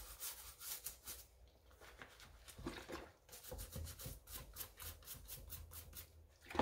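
A wooden-handled brush scrubs the wet white rubber/foam sole of an empty light pink mesh sneaker, held in a pink rubber-gloved hand over a basin of soapy water. A quick run of brisk, bristly scrubbing strokes gives a bright, hissy rasp with a soft low thump beneath each pass, and the sound stops short between strokes.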